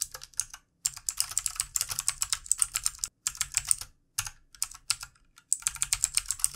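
Very fast fingertip typing with both hands on a full-size backlit plastic mechanical keyboard with plastic keycaps. Dense runs of sharp, bright clicks with almost no ring, broken by a few brief silent pauses.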